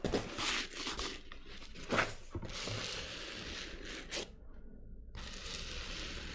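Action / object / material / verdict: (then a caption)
scrape / glitter-coated fabric clutch bag / glitter fabric / none. Long nails tap and scratch across the glitter-coated surface of a small, hollow black clutch handbag with a chain handle. Bright, gritty rasping scrapes are broken by a few soft, dull taps, with a short quieter stretch before the steady scratching resumes.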